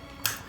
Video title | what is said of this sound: Brits try Michelin Star Christmas Dinner! | you can hear how crispy that is on the top